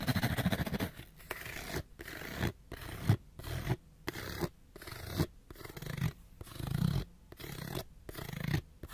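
Fingernails scratch fast and hard along the face and edges of a small, hollow, printed cardboard light bulb box. Short bursts of dry, rasping scratching are separated by brief silences. The tone is low and hollow, with a papery rustle on top and no ring after each stroke.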